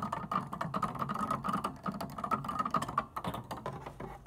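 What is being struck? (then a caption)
Plastic organ keyboard keys. Long nails tap and click rapidly on plastic organ keyboard keys without playing notes. A dense run of short, dry plastic clicks with a bright tone near 1.1 kHz, each one dying away almost instantly.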